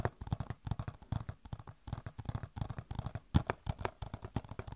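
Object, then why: Plastic game case. Long nails scratch and tap an Overwatch PC game box, a hollow plastic case with a glossy cover. A quick, uneven run of short, dull taps with mostly low, hollow thuds stops dead with no ring, mixed with faint scratchy rustle.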